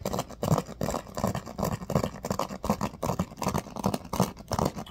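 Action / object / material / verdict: scrape / bamboo paddle hairbrush with pin bristles / bamboo / none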